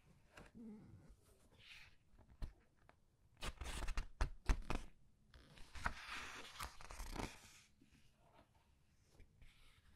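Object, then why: Glossy paper pages of a hardcover book. Hands with long red nails lift, turn and flatten the glossy paper pages of a large open hardcover book resting on a white table, rubbing the paper as they go. Soft rustling and crisp papery crinkles build into two louder bursts of page handling in the middle of the clip. Quieter brushing and scratching sounds fill the gaps between them.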